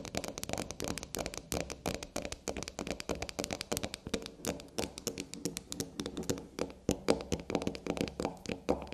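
A small, solid black unicorn-shaped soap standing on a table is tapped and scratched quickly with long black nails. Dense, rapid, sharp clicks and scratchy ticks run steadily throughout, each dying out almost instantly, with a bright edge over a faint low body.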